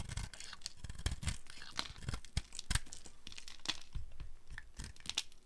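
A dry, speckled multicolor soap ball, already partly carved down, is held and shaved with a flat metal blade. It gives a quick series of dry, crisp scraping and tearing crunches as crumbly chips break away.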